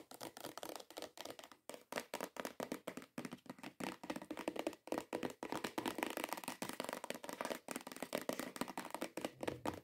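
Long nails tap and scratch rapidly across the top surface of a hollow cream cardboard perfume box. The result is a fast stream of short, dry, papery clicks with almost no low end or ring, mixed with brief scratchy rustles.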